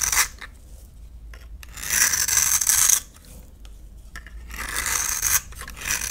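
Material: Soap.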